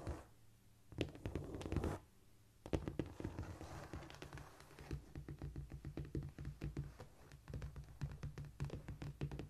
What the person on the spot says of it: Today I have a tingly tapping on a cork floor for you.